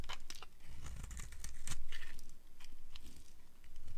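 A solid blue striped bar of dry soap is carved with a flat cutter blade. Rapid, crunchy scrapes and crisp crumbling repeat in quick, uneven succession over a low, dull rumble, each cut ending almost instantly.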